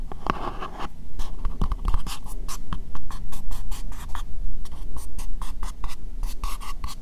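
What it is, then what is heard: Plastic bowl being scratched. Fingertips and nails lightly scratch an empty, hollow, translucent pink plastic bowl. A quick, steady run of short, dry scratching strokes gives bright hiss with a hollow midrange tone. A faint low rumble sits underneath.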